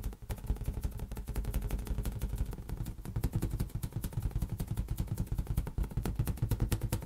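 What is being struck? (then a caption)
Inflated latex rubber balloon. A large, hollow, air-filled green latex balloon is tapped rapidly with the fingertips and palm. The result is a fast, continuous patter of short, deep, drum-like thumps, with a soft clicky edge on each tap, that die away almost instantly.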